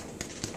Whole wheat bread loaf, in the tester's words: you can tap it. It should sound hollow